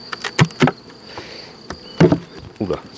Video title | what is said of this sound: Saison 2 Épisode 13. Contrôle de la ponte des essaims | sonne un peu le creux j'aime pas bien